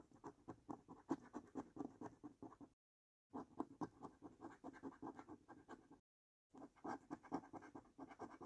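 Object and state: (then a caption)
Paper scratch card being scratched. A coin edge scratches across the lower panels of the same paper lottery scratch card in quick, uneven strokes. The dry, rasping scrapes sit in the low-mid to midrange, stop briefly twice, then resume.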